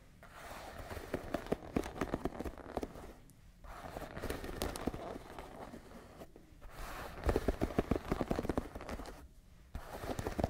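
Long nails scratch and tap across the dense wooden pins of a wooden paddle hairbrush held in one hand. The result is a bursty run of quick, dry clicks and rasps with no ring. The sound comes in three clusters separated by short pauses, and the last cluster is the loudest.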